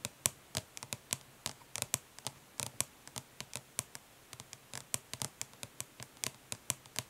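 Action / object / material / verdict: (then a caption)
tap / plastic eyeshadow palette tapped with fingernails / plastic / none. Long nails tap quickly on the embossed lid of a flat, hollow plastic eyeshadow palette resting on cloth. About 34 light, bright clicks come in uneven bursts, each dry and sharp with almost no ring.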